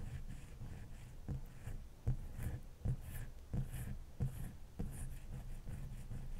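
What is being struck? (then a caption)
Large ice block. Long fingernails scratch and tap across the top of a large, solid, dome-shaped ice block. A steady low, rough scratching runs throughout, broken by five short, dull taps that die away almost at once.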